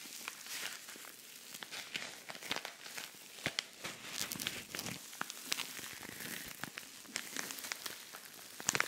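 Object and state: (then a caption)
Rhinestone-covered pouch scratched. Fingernails scratch across a flat, empty-looking silver rhinestone-covered cosmetic pouch held close to the mic. Dense bright crinkling and scratchy clicks fill the clip, with sharp ticks standing out above a steady hiss and almost no low end.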